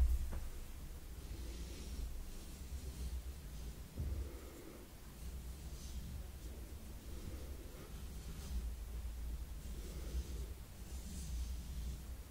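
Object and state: Nothing is struck.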